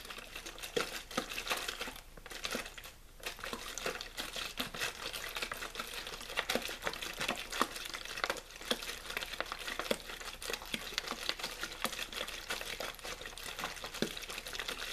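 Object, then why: Thin plastic water bottle. Fingers crinkle and squeeze a hollow, mostly empty clear plastic water bottle with a blue label. They produce a steady stream of bright, dense crackling and sharp plastic clicks. The sound has little low end and short, dry pops throughout.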